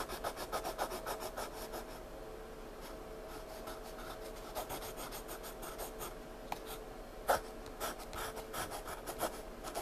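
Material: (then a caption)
Paper. A hand draws with a wooden pencil on a flat paper sketchbook page, scratching lines and shading. Quick rhythmic strokes come in bursts of soft, bright scratching with short pauses, plus a few sharper accents near the end, over a faint steady low tone.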